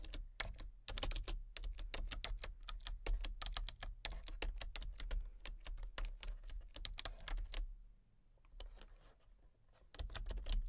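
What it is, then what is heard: Plastic computer keyboard being typed on. Fingertips type rapidly on a full-size plastic computer keyboard with a colour-changing backlight, producing dense, bright, clicky key taps over a steady low hum. The tapping slows to a few scattered keystrokes around eight seconds, then picks up again near the end.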